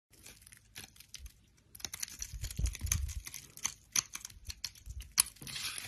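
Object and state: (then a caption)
Soap bar being shaved. A solid rectangular bar of brown soap, held in a hand with long lilac nails, is shaved and scraped with a utility knife blade, and the shavings pile up. Quiet, dry scraping and crisp, crinkly tearing sounds come in uneven bursts with bright, hissy highs and soft low thuds, growing busier and denser toward the end.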